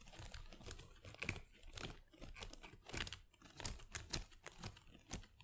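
Long acrylic nails scratch and crinkle through the small plastic leaves of an artificial potted plant. The result is a quick, irregular run of dry rustles and crisp clicks with bright, sharp edges and almost no ring.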